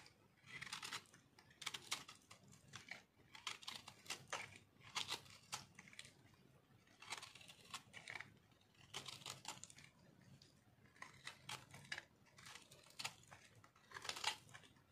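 A metal knife carves and scrapes flakes off a solid pink speckled dry soap bar held in one hand. Repeated short bursts of dry, bright scratching and crunching come in uneven strokes, separated by brief quiet gaps.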